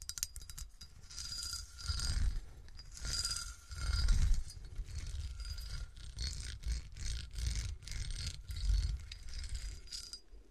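Long nails tap and scratch the sides of a clear, hollow cut glass bottle with a diamond pattern and a smooth window, standing upright and apparently empty. Rapid scraping swells in waves, dotted with quick bright clicks and a faint glassy ring over a low rumble.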